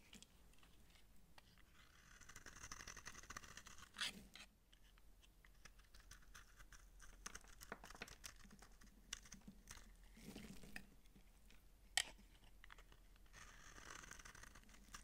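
A utility knife blade scrapes thin, layered shavings from the end of a dry, palm-sized, solid orange soap bar held in the hand. Soft, bright, dry scratching strokes come in waves, broken by a few sharper crisp clicks as flakes break away.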